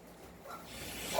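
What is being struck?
Nothing is struck.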